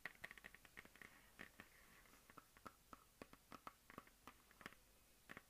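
A medium hollow plastic map globe on a stand is tapped with long dark-painted nails and fingertips. The result is a quiet, irregular series of short, dry clicks and taps, some with a faint hollow ring near 2 kHz and others slightly lower around 1.3 kHz.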